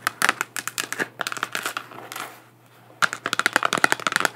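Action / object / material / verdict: tap / 3D-printed plastic moon lamp / plastic / none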